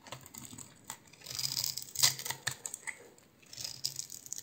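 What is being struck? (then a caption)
Bar of soap. A hand-sized, solid green oval bar of soap is scored and scraped with a utility knife blade. The result is a quiet run of short, crisp, bright scratching and clicking sounds that rise and fall in bursts, with a sharper peak near the middle.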